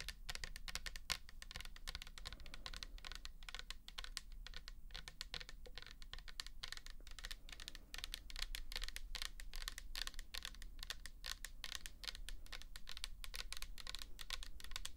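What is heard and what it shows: Long nails tap and scratch a 400 ml pink plastic toner bottle with liquid inside, making a dense, fast run of short, dry, bright clicks and scrapes for the full clip. A steady low hum sits underneath throughout.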